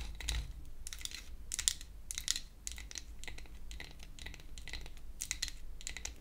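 A pink-painted wooden toy hair dryer, a solid flat piece of wood held upright, is tapped with long acrylic nail tips. Quick, bright clicking taps come in short clustered bursts over a steady low rumble.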